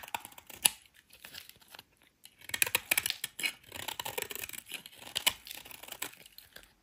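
A solid rectangular white soap bar, held in the hand, is shaved with a metal utility knife blade. The clip is a run of short, dry, bright scraping and crackling cuts with almost no low end. The strokes come in quick bursts and die away instantly.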